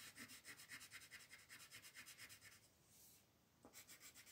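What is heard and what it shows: A green colored pencil is rubbed across a paper coloring sheet held down by the other hand, making quiet, rhythmic scratchy strokes with a bright, hissy rasp. Partway through, the strokes blend into a smoother continuous rub for about a second before the quick back-and-forth scratching resumes.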